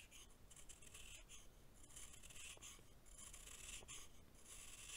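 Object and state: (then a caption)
Compacted baking soda chunk. A hand-held solid chunk of packed baking soda is scraped with a green-bladed knife in continuous rasping shaving strokes. The quiet, gritty scraping carries a bright, hissy edge, with bursts of high rasp rising and falling from stroke to stroke over a low rumble.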